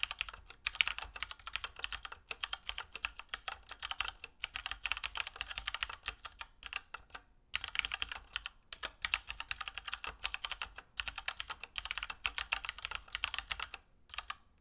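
A Keychron K2 plastic mechanical keyboard with Gateron Brown switches and plastic keycaps is typed on steadily with the fingertips. Dense runs of short, bright clacks with almost no low end and no ring come in bursts, separated by brief pauses near the middle and end.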